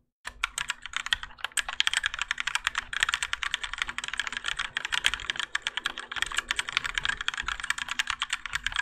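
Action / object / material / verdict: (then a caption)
tap / mechanical keyboard with plastic keycaps / ABS plastic / none. Continuous typing with the fingertips of both hands on a Keychron K4 compact mechanical keyboard with Gateron Yellow switches and grey and orange ABS plastic keycaps, its plastic and metal case resting on a desk mat. Quick, dense clicky-clacky keystrokes with a bright, short attack fill the clip, and a faint steady low hum sits underneath.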